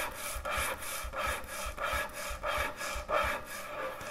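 Long nails scratch across a large, thick, solid wooden end-grain butcher block cutting board in steady repeated strokes. Each stroke makes a dry, raspy rubbing sound with a bright, papery texture and a soft low thump underneath.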